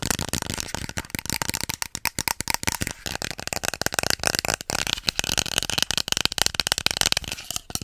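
A small, hollow pink plastic cosmetic bottle with a white cap is tapped and scratched with fingertips and nails close to the mic. About 26 rapid, dry, bright clicks stand out over a continuous scratchy hiss. Each tap dies away instantly with no ring.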